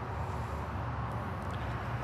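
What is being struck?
Nothing is struck.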